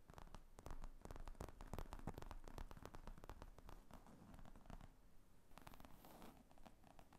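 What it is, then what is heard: Leather laptop bag. Long painted fingernails tap and scratch across the top of a padded black leather briefcase/laptop bag with zippers lying flat. The result is a quiet, uneven run of quick, dull, low-heavy taps mixed with soft rustly scratching, each tap dying away almost at once.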